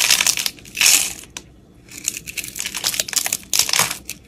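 A utility knife blade scrapes the crumbly surface of a solid, palm-sized round soap bar with pink speckles, held in the hand, carving chunks out of it. Bright, dry crunching and scraping bursts come in quick runs with short pauses between them.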